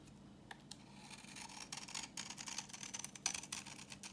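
A solid, translucent reddish-brown bar of dry vintage soap, held in the hand, is scraped with a utility knife blade and sheds orange shavings. The result is a quiet run of dry, bright scratching and crackling strokes that build in density over a few seconds. A steady low hum sits underneath.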